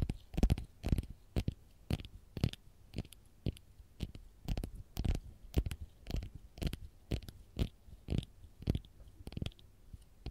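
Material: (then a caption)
Lemon peel. Long gold-polished nails tap and scratch the textured peel of a whole raw fresh lemon held in the hand. Short, dry, close-up taps with a soft low thump come about twice a second in a loose, uneven rhythm, mixed with faint brushing scratches. Each tap dies away almost instantly.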